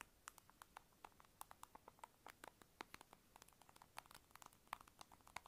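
A small, hollow, light-blue round plastic lip balm egg held in the fingers is tapped quickly with long acrylic nails. The result is a rapid run of short, dry, hollow clicks, centered around 1 kHz with bright tops and almost no ring, at a quiet level.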